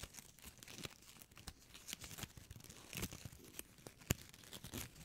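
A small, shiny gold foil-plastic ribbon gift bow is held in the fingertips with long nails and squeezed and crinkled close to the microphone. The result is a steady run of dry, bright crackles and rustles, with sharper snaps standing out, the loudest near the four-second mark.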